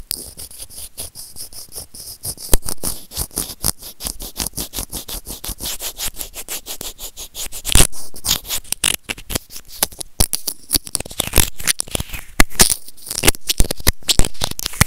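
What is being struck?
Small plastic earphone microphone remote.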